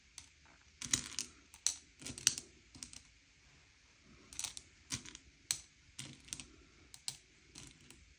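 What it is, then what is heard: Candy-coated chocolates being pushed and sorted. Fingertips slide and push a pile of small, hard, sugar-shelled M&M's candy-coated chocolates around a grey plate, sorting them by colour. A scattered series of sharp, bright clicks and dry rattles sounds as the candies knock together and skitter across the plate, each tick dying away almost instantly.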